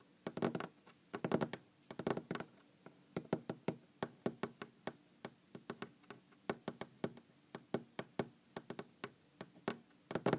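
Fingers tap and knock on a wooden object in a quiet, close-up recording. Rapid clusters of dry, hollow knocks alternate with single, spaced taps. Each hit has a mid-low woody tone and dies away almost instantly.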